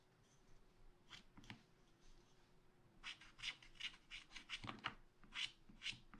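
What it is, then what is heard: Scratch art paper being scratched. A wooden stylus makes short scratches near the bottom of a black, wax-coated scratch art paper page in a spiral pad. A few soft, bright scraping strokes come first, then a quicker run of sharp, dry scratches from about the middle onward. A faint steady low hum sits underneath.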